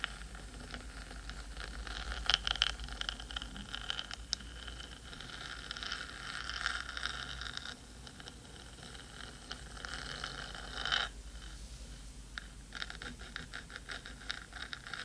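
Long pointed nails of both hands scratch and tap the black metal body of a 3Dio microphone with a hollow housing. The result is a steady, bright, hissy scratching texture with a faint low rumble underneath. Sharp metallic taps ring briefly around 3 kHz, with louder bursts near the start and again toward the end.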